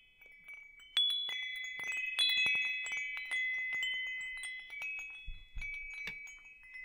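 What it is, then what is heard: Metal tube wind chime. A hanging wind chime with hollow metal tubes is held close up while fingers tap and brush the tubes. Three clear strikes ring out in high, bright, overlapping tones, with lighter tinkling brushes between them and the notes sustaining and shimmering throughout.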